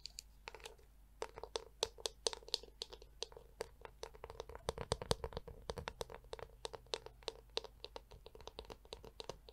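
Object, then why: Plastic hairbrush shell. Long nails and fingertips tap and scratch the curved shell of a black, hollow plastic Tangle Teezer detangler brush held in the hand. The result is a quiet, rapid run of dry, bright clicks and scrapes that stop dead without ringing, over a faint steady low hum.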